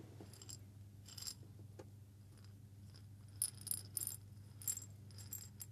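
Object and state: Small glass jar with coffee beans.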